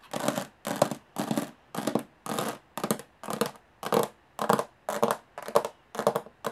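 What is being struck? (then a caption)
Small aluminum case with textured metal lid. Long fingernails tap and scratch quickly on the textured metal lid of a small, hollow aluminum briefcase. The sound comes in short, dense bursts of clicking and scraping, each separated by a brief silence. The hollow lid gives it a boxy midrange body under a bright, hissy edge.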